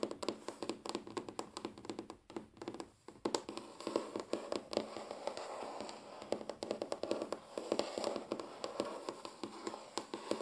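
Quick, sharp taps on a wooden table, each a short, dry knock with a midrange tone that dies away almost at once. The tapping runs in fast, uneven bursts through the whole clip, with a brief near-silent gap a couple of seconds in.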